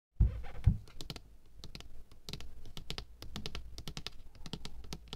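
Long painted fingernails tap on the label side of a large, apparently full, 500 g white plastic bottle of craft glue held in one hand. Two heavy, low thumps open the clip, followed by a quick, uneven run of light, dull taps with short bright clicking edges and almost no ring.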